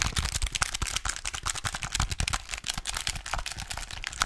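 A small plastic pocket calculator with a display and button keys is held upright while fingertips and nails rapidly tap and scratch its keys and casing. The result is a dense run of dry, clicky taps mixed with bright, scratchy rasps and soft low thumps, each sound stopping almost instantly with no ring.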